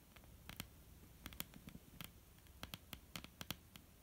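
Long, almond-shaped painted nails tap and scratch on a flat, solid wooden tabletop. The result is a quiet, irregular run of short, dry clicks with bright ticks over soft, low knocks, each dying away almost instantly, with faint scratching between the taps.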